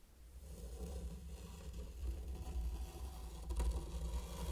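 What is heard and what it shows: A mini wooden rake draws wavy lines through fine pink sand covering a large heart-shaped wooden board. The raking produces a steady, low, muffled scratching and scraping that builds gradually, with a brief louder swell near the end.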